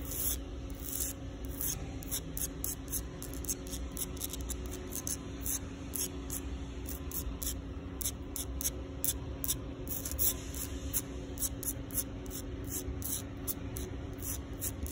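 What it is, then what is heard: Concrete sidewalk. Long pink nails scratch and tap the surface of a grainy, solid concrete sidewalk in sun and shade. Rapid bright, raspy scrapes and quick taps repeat throughout over a steady low hum, with a faint tone near 280 Hz.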